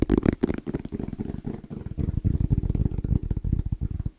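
A small, rigid, hollow black hard-shell EVA case with an orange zipper is held close to the mic while fingertips tap rapidly and rhythmically on its shell. The taps land as a fast, steady run of soft, low, hollow thuds with almost no brightness and no ring, each dying away at once.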